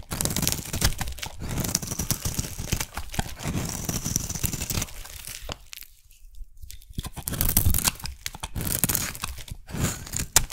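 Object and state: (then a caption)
Soap bar being shaved. A metal blade shaves a solid round pink soap bar topped with sprinkles, peeling off pink curls. Dense, crunchy scraping and crackling tearing sounds run almost continuously, with a brief quiet gap around the middle before the cutting resumes.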